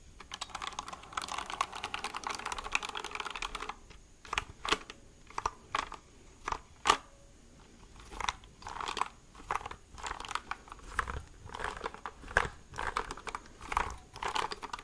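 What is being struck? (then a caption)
Plastic mechanical keyboard. A white plastic mechanical keyboard is held vertically while fingertips tap its plastic side and keycap edges. For about the first four seconds the taps come as a rapid, dense flurry of light clicks, then they spread out into separate, sharper taps. Each click is short and dry with a bright, mid-high tone and almost no ring.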